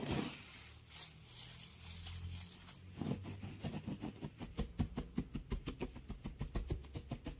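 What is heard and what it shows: Fingers dig and scratch through a pile of loose, curly, pale wood shavings. A soft, steady rustling scratch with a low rumble gives way after about three seconds to a quick, rhythmic run of short, bright crunches.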